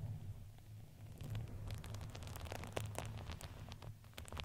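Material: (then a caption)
Fabric. A red fuzzy fabric ring fitted around a microphone head, soft with a crinkly filling, is squeezed and rubbed with fingers and nails. A low, steady rumble sits under a quiet, continuous rustle, with a scatter of short, bright crinkles and crackles that thicken from about one second on.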